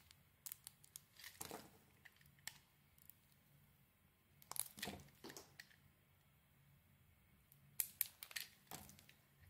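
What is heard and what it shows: A metal utility blade carves and shaves a solid, hand-sized bar of blue and red soap held in the palm, peeling off curls. The result is quiet, dry, crisp scraping and crinkling strokes with a bright, papery edge, coming in irregular bursts separated by short pauses over a faint low hum.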